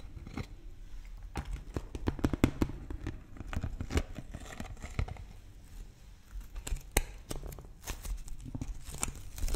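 A large, empty, clear PET plastic water bottle with a blue cap is held up close and squeezed and scratched with fingers and nails. It gives sharp, dry crinkles and crackles with short clicks scattered throughout. The sound is low-heavy and close, with bursts of louder snaps.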